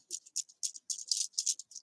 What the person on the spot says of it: shake it up a little so you'll hear a rattle in it with the top on